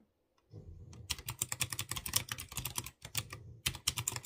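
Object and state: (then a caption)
Mechanical keyboard with round keycaps. Fingertips with short dark-painted nails type rapidly on a light blue plastic mechanical keyboard with typewriter-style round chrome-rimmed keycaps over clear-housed blue switches. After a quiet start, a dense run of sharp, bright clicks rides over a low thocking undertone, breaking briefly near the three-second mark before the fast typing resumes.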